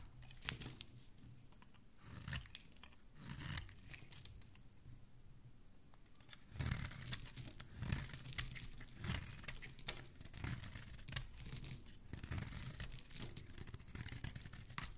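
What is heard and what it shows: A metal blade with a black handle scrapes and shaves the surface of a white solid bar of soap held in the hand. The sound is a series of soft, dry, crumbly scraping and tearing strokes with bright, crisp edges, briefly quieter near the middle before the shaving picks up again.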